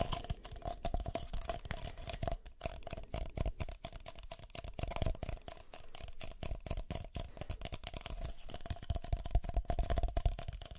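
A pair of empty, hollow red-and-white disposable plastic party cups, one held in each hand near the ears, is tapped and scratched with fingertips and nails. It makes a steady stream of quick, dry taps and scratchy rustles with soft, low thumps and a faint hollow tone that rings under the clicks. The sound stays close and busy throughout, with no pauses.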